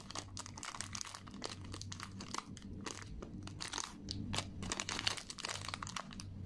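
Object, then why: Chocolate wafer bar and aluminium foil wrapper. A solid four-finger milk chocolate KitKat bar lies in opened silver foil while fingers with long nails unfold and crinkle the foil, then press and snap the wafer fingers apart. Dense, bright crinkling and crunching crackles run throughout over a faint low hum.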